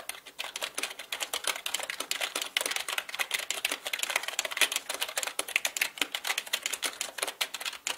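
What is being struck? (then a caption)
Plastic mechanical computer keyboard. A black full-size mechanical computer keyboard with plastic keycaps, resting on a felt surface, is typed on fast with the fingertips of both hands. The result is a continuous stream of dense, bright plastic key clicks with almost no low end. Each tap is short and dry.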